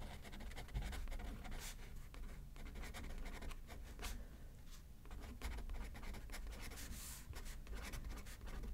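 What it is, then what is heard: Pen writing on a paper card. A ballpoint pen tip scratches across a thin, flat paper greeting card lying on a spiral notepad on a wooden desk as someone writes left-handed. Continuous scratchy pen strokes with brief bright ticks run over a steady low rumble, with no speech.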